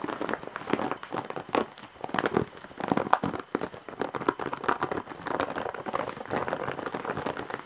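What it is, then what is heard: Woven straw bag. Long nails scratch the weave of a large embroidered straw and jute bag, making dense, dry crinkling and crackling. The scratches come in rapid, overlapping bursts with brief pauses, mostly in the mids, with very little deep bass or bright top. Each scratch dies away almost instantly.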